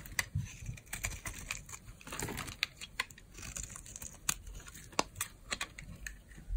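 A metal blade shaves flakes off the surface of an orange, solid, dry soap bar held in the palm. The scraping comes as quick, crunchy, dry crackles with bright, brittle clicks and a soft swell of rasping in the middle.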